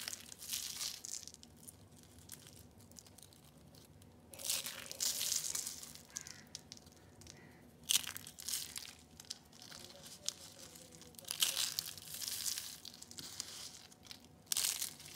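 Thin, brittle, hollow spirals of yellow and orange dried soap curls are crushed and crumbled between bare fingertips on a glitter surface. Bursts of bright, dry crunching and crackling come in waves, separated by quieter stretches of faint crinkling. The sound is almost entirely high-pitched with no low rumble, and each crack stops sharply.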